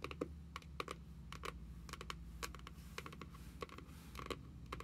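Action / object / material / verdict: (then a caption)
tap / cardboard notebook cover / cardboard / none. Long nails from both hands tap quickly and irregularly on the printed card cover of a closed cardboard journal. They make short, crisp clicks that ring around 1 kHz and reach up into the high range, over a steady low hum.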